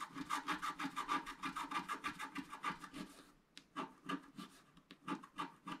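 A wooden stylus scratches back and forth along the bottom edge of a flat, black-coated scratch art paper sheet, producing quick, rhythmic, raspy strokes with a bright, papery hiss. The strokes run steadily, pause briefly past the halfway point, then resume more unevenly and softly.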